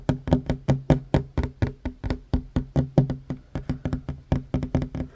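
Short fingernails on one hand tap fast on a solid wooden tabletop, giving 26 quick, dry knocks in just over five seconds. Each tap has a low, woody thud with a brief bright click on top and dies away almost at once.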